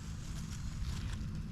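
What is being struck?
Nothing is struck.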